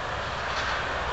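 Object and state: Nothing is struck.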